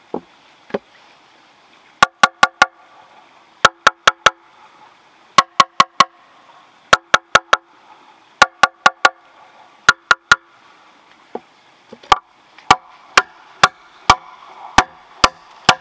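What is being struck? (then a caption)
Green bamboo log. A long, thick, hollow green bamboo log lying on the ground is struck repeatedly with a metal machete blade. The result is a rhythmic series of sharp, short knocks grouped mostly in fours, each with a brief woody ring pitched around 1.4 kHz. The last stretch is a steadier run of single strikes over a faint background hiss.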